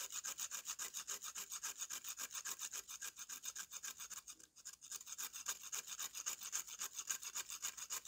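A metal knife blade is scraped rapidly and repeatedly across the surface of a solid slab of dry brown mud held upright, shaving off dust. The strokes come in a steady rhythm, with a brief pause about halfway through. Each one makes a dry, bright, rasping scratch with almost no low end.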